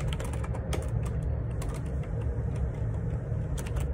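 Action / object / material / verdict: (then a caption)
tap / plastic computer keyboard / plastic / none. Fingertips type on the plastic keycaps of a black plastic ergonomic split keyboard, a Perixx Periboard 612 with a hollow housing, lying on a grey laminate desk. A steady stream of soft, clicky keystrokes with bright transients sits over a strong low hum.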